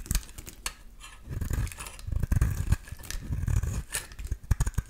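A solid translucent green bar soap, held in hand, is shaved with a metal utility-knife blade into thick curls. The result is a run of quick, dry scraping strokes with sharp clicks and low rumbling thuds, mostly deep in tone with a little bright edge.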